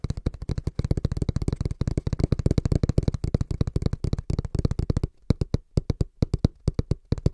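A small, hollow brown cardboard box held in both hands is tapped rapidly with the fingertips on its front panel. The taps are dull, hollow, low thuds that stop almost instantly, coming in a dense, fast rhythm for about five seconds. They then become sparser, with short silent gaps between them.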